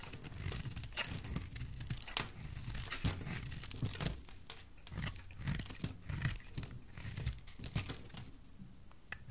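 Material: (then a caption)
Soap. A metal utility blade shaves a solid, rounded, bright green bar of dry soap into thick flakes. The result is a continuous run of crisp, crackling scrapes and crunches, with dense bright clicks over a soft low rumble. The scraping swells and eases in uneven waves throughout.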